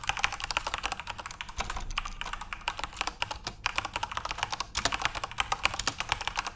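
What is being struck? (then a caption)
Plastic computer keyboard. Fingertips type continuously on a backlit plastic RGB Corsair mechanical keyboard. A rapid, steady stream of sharp, bright key clicks and clacks with very short decay is heard, with brief dips between bursts of keystrokes.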